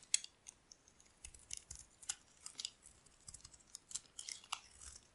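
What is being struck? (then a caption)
Bar of soap shaved with a metal blade. A solid beige rectangular bar of dry soap, held in one hand, is shaved with a metal utility blade so curls peel off. The sound is a series of short, dry, bright scraping and crackling strokes with almost no low end and no ringing. It is a carving, scraping sound rather than tapping.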